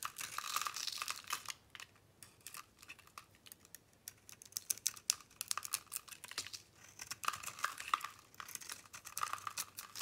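A metal blade shaves the swirled decorative coating and soap off a solid pink bar held in the palm, and crumbly, powdery chunks fall away. The sound is a dry, bright crackling and scraping made of many quick, sharp ticks, in bursts with brief quiet gaps.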